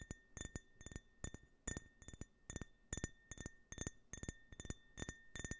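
Fingertips and short nails tap a small, empty, hollow drinking tumbler printed with a red, white and blue US stars-and-stripes flag while it is held in the other hand. The taps come in quick, uneven clusters of bright, short glassy clinks over a faint steady ringing tone near 1.8 kHz, each hit dying away almost at once.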